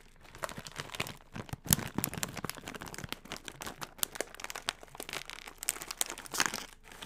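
A yellow metallized plastic Funyuns chip bag is held in the hands and crinkled and squeezed with fingertips. Dense, bright crackling with sharp crinkly bursts runs continuously over about seven seconds, with louder crunches standing out here and there.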